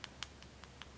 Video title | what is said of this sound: Project Share - Melody Lane's Handcrafted Gifts | it's hard plastic you can hear the tapping you don't get on the other ones